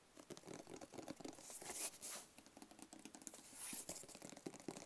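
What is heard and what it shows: Fingernails tap and scratch along the edges of a small, hollow black rigid cardboard gift box with a lid, held in the hands. Quick, crisp, dry taps mix with papery scraping, with brighter, longer scratches swelling around the two- and four-second marks. The sound is quiet and light, with very little low end.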